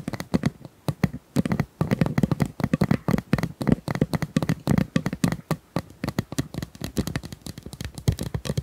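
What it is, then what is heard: Plastic ice cubes. Small plastic ice cubes are tapped and handled up close, making a rapid, irregular series of short, dry clicks and clacks. The taps have a low, dull body with almost no ringing after each one.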